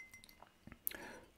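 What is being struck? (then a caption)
Ceramic mug. A handmade ceramic pottery mug from a pottery workshop is tapped lightly several times, giving soft, bright clinks with a high ring that dies away almost at once. The sharpest clink comes near the end, with a faint lingering shimmer after it.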